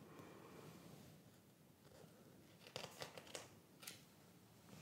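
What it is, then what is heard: Glossy paper magazine. Bare fingertips of a hand wearing a ring rub and smooth across the pages of a large, open glossy paper fashion magazine (Madame) lying flat, then turn and flip the pages. A soft, steady papery hiss is followed by a quick run of crisp, bright crackles and snaps as the glossy pages move, before it settles back to a quiet rustle.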